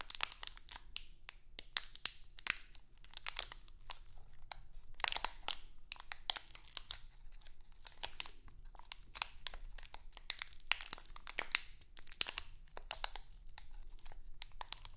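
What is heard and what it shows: A small printed crinkly plastic Halloween candy bag is held in both hands, crinkled and scratched with long acrylic nails. Bright, sharp crackles and scratches come in quick, dense bursts throughout, with a faint low hum beneath.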